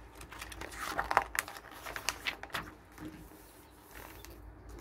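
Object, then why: Glossy paper catalog pages. The pages of a glossy paper garden catalog resting on a wooden table are turned by hand and rubbed flat with the fingers. Crisp, bright crinkles and sharp paper snaps cluster in the first half, then fade into soft, quiet rubbing and rustling.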